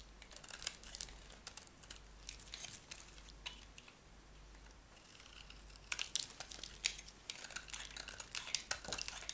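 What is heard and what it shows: A metal utility knife blade scrapes and shaves curls off a solid yellow bar of soap held in the hand. Dry, crisp scraping and crackling sounds come in bright bursts, quieter in the middle and busier toward the end.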